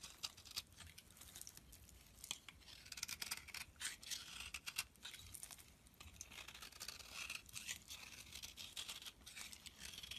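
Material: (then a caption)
Soap. A knife blade carves crisp, thin slices off one edge of a solid beige soap bar held in the hand. The result is a quiet, steady run of short, bright scraping and shaving strokes with almost no low-end body, each cut crackling briefly and stopping dry.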